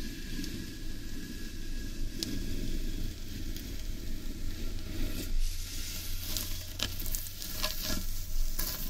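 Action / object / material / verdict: scrape / large carved wooden bowl, upturned / wood / none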